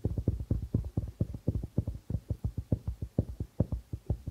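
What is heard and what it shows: Fingertips and nails of both hands tap quickly on the white plastic membrane of a hollow darbuka drum, producing a rapid, uneven run of about 26 soft, deep thuds. Each tap is short and muffled, centered low around 105 Hz with almost no bright content, and dies away almost instantly.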